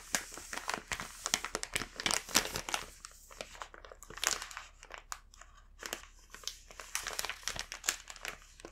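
A large, full, green printed plastic bag of Rumando matcha crepe cookies is held and handled with both hands and fingertips, its film crinkling. Soft, bright, dry crackling comes in dense bursts with brief quieter gaps throughout, almost no low end and very little ring after each crinkle.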